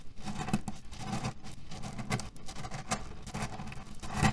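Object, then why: Cotton pillow filled with cherry stones. A cotton fabric pillow filled with cherry stones is scratched with fingernails and pressed down with fingers of both hands, producing a dense, continuous patter of scratching and soft rattling of the pits inside. The sound is mostly low and muffled, with short brighter scratchy bursts rising and falling throughout.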